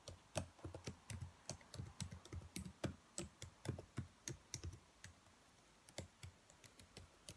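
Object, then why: Plastic laptop keyboard keys. Long nails tap and press the black plastic keys of a dark laptop keyboard in a typing motion. The result is a quiet, irregular stream of short, dry clicks with a low thud under each tap and bright ticks on top, which thins out toward the end.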